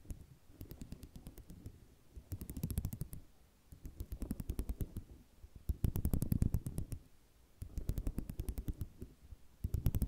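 A flat sheet of small white square ceramic mosaic tiles resting on cloth is scratched by fingernails dragged across the tile rows, making them rattle. Bursts of rapid, dry clicking come in waves of roughly a second or two, separated by brief quieter gaps. The sound is mostly low and soft, with sharp clicks reaching up into the highs.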